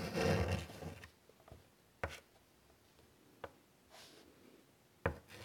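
White chalk scratches and rasps across a large, flat, wood-framed chalkboard while drawing a butterfly body. A loud, dense rasping stroke fills the first second, followed by three sharp, separate taps and a soft scrape against near silence.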